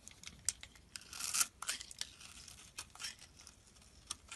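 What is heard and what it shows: A metal blade scrapes and cuts crumbly flakes off a solid blue and white striped soap bar held in the hand. Quiet, bright, dry crackling scrapes come in a quick series of short bursts, with one longer, louder rasping stroke in the middle. Each cut ends abruptly, leaving little ring.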